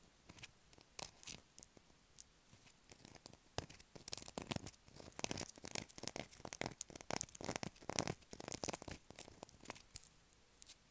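Long black acrylic nails scratch a light blue solid bar of soap held in the hands, making quiet, dry, bright scratches and crisp clicks. The short bursts come in quick, uneven clusters throughout, with little low end and almost no ring.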